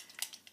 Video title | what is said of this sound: bareMinerals bareSkin Serum Foundation Review | you're supposed to shake it up you can hear it